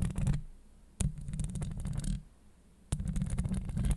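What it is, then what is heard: Metal mesh microphone grille being scratched. Long acrylic nail tips scratch across a hollow steel mesh microphone grille, producing close, low, rumbling scrapes with a faint bright crackle on top. The scratching comes in three bursts, the second and third starting with sharp hits at about 1 and 2.9 seconds, separated by quieter lulls.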